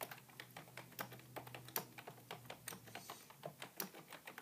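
Fingertips type steadily on a beige full-size plastic computer keyboard resting on a wooden table. The result is a quiet, continuous stream of short, bright plastic key clicks and taps, each dying away almost instantly.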